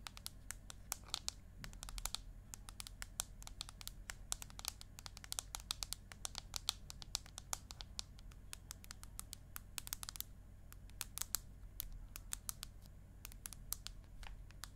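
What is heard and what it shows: Long acrylic nails tap and scratch the aluminium back of an iPad mini held landscape in front of the face. Many quick, sharp, bright clicks with brief scratching come in an uneven stream over a quiet, steady low hum, each tap dying away at once with no ring.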